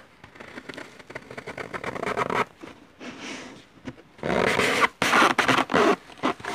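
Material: Floral foam.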